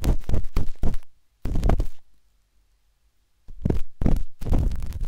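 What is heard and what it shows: A metal-tipped dot stick with a wooden handle scratches inside the soft, hollow canal of a pinkish-white silicone binaural microphone ear. Heavy, muffled low scraping and thumping comes in dense bursts, with a near-silent pause in the middle before the scratching resumes.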